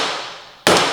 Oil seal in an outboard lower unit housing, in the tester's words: that tells me it's all the way in there